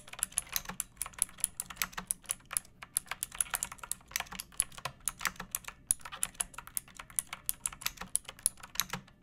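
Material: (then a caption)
Plastic. A pink plastic mechanical keyboard with round backlit keycaps and a hollow body, resting on a wooden surface, is typed on with long painted nails and fingertips. About 55 short, sharp, bright clacks come in a steady stream, each dying almost instantly, with a light hollow thud beneath.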